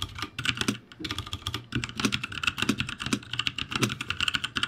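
Fingertips type on a backlit ROCCAT G65 mechanical keyboard with plastic keycaps, producing a steady run of quick, bright clicky taps. Each keystroke is short and crisp with a light low thud underneath, and the keys clatter unevenly as typing continues throughout.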